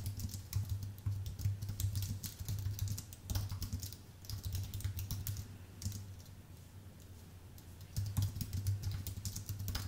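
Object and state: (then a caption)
Aluminium and plastic keyboard being typed on. Fingertips type continuously on a full-size white Apple Magic Keyboard with an aluminium base and plastic keys, producing rapid, bright, clicky keystrokes over a steady low hum. The typing thins out and quiets briefly in the middle, then picks up again toward the end.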